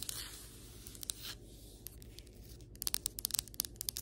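Long white acrylic nails scratch across solid ceramic floor tiles, making a soft, bright, hissing scrape. This gives way to a quick run of crisp, high-pitched taps on the tile surface. Each tap is a dry click with almost no ring.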